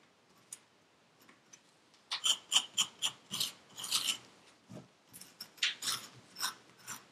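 A metal pick with a wooden handle scrapes and cuts through purple kinetic sand in a yellow paper cup. After a few faint ticks, a series of short, bright, gritty scrapes and crunches follows at a quick, uneven pace. Each scrape dies away almost instantly, with no low rumble.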